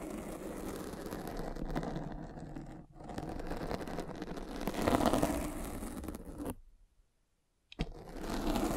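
A metal-spiked derma roller is rolled over a black foam windscreen on a microphone, making a dense, continuous scratchy rustle weighted in the low and middle range. The rolling swells and fades, drops to near silence for about a second, then resumes with a sharp tap and more scraping.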